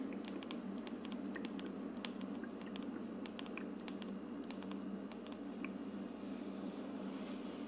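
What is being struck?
Plastic aroma diffuser dome.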